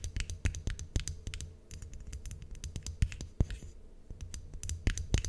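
A white ceramic mug with an ornate gold handle, hollow and apparently empty, is tapped and scratched on its sides with long acrylic nails. Many quick, bright clicking taps overlap with soft scratching over a low, steady rumble, and each tap dies away almost instantly.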